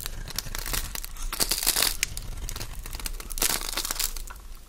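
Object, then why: Bar of soap. A metal blade scrapes across a solid oval cream-white Fa soap bar held in the palm, shaving crunchy curls off its surface. Dense, dry crackling and crunching runs throughout, bright and close, with short sharp snaps between steady scraping.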